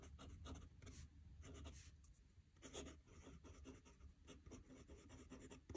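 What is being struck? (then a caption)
Metal pen nib on a paper notebook sheet. A metal fountain pen nib scratches across a squared paper notebook page lying flat on a desk as a hand writes. Quiet, rapid, bright scratchy strokes come in quick bursts over a low, steady rumble, each stroke dying away almost instantly.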